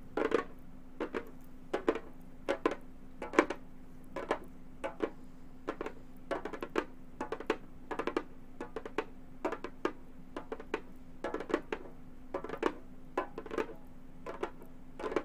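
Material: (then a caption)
Synthetic membrane. Long gold metal finger claws tap quickly on a hollow, round Remo frame drum with a synthetic head. Clusters of short, dry clicking taps come in irregular bursts over a faint steady low hum, each tap dying away almost instantly.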